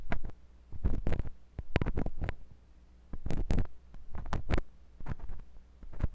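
A metal drill-bit tip on a wooden handle scratches inside the ear canal of a white silicone binaural microphone ear. The result is a run of deep, muffled thumps and rumbling scrapes in uneven bursts, with short quiet gaps between them.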